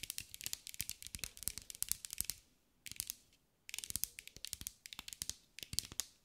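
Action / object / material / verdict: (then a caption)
tap / glass mosaic ball / glass / none. A green mirror-glass mosaic sphere held in the hands is tapped and scratched with long acrylic nails. It produces rapid bursts of sharp, bright clicking and scratchy ticks that stop instantly, with almost no low end. The bursts come in clusters separated by brief quiet pauses.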